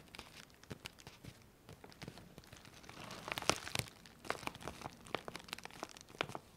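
Long manicured fingernails and fingertips scratch, rub and crinkle the surface of a large, flexible, printed plastic Colissimo postal mailer bag, a closed parcel with contents inside held up in both hands. Soft, dry crinkling runs throughout, broken by quick, bright crackles and sharp scratches that bunch up toward the middle and then continue steadily.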